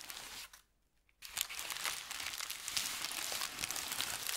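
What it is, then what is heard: Thin paper sheet crinkled and rubbed. A crumpled thin white paper sheet is crinkled, then spread flat and rubbed with the palm and fingers. Bright, dry crackling starts, stops for a brief near-silent pause, then returns as a dense, continuous rustle of sharp crinkles that holds steady to the end. The sound sits almost entirely in the high range with hardly any low end.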